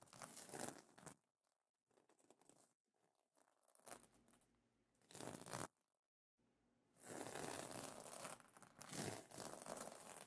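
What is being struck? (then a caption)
Plastic sequin fabric pillow cover. Fingertips and nails scratch across the iridescent plastic sequins of a sequin pillow cover, producing bright, crinkly, tearing-like rasps. The scratching comes in bursts separated by short near-silent gaps, then becomes a longer continuous stretch at the end.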